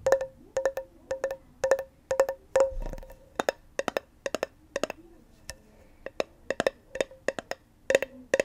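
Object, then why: Small round metal tin tapped with fingernails. Long nails tap and click on the lid and rim of a small round metal tin with a pink label. The result is a rapid, uneven series of sharp, dry clicks, some grouped in quick pairs and bursts, each with a brief bright ring around 540 Hz that dies away almost at once.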